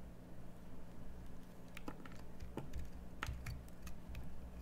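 A metal craft knife scrapes and carves out the hollowed face of a solid cream bar of soap held in the hand, with shavings piling on the table. Soft, quiet clicking scrapes come in uneven bursts over a low, steady hum, each stroke short and dry with almost no ring.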